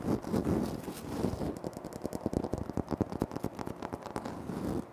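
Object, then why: Speckled granite floor tile. Fingertips and short nails scratch across a large, flat, solid speckled granite-like floor tile, making a low, rustling scrape for the first second and a half. Then rapid, crisp taps on the tile follow, each dry and short with no ringing, mixed with light scratching until the end.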